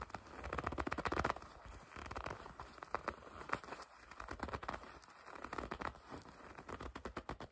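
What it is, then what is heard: Leather jacket being gripped and scratched. A dark green and black leather jacket is bunched up in both hands, and long red acrylic nails grip, squeeze and scratch the soft, flexible leather. The result is a quiet, dense patter of short crinkles and crackles, most intense in the first second or so, then continuing as softer, uneven rustling with occasional sharper clicks.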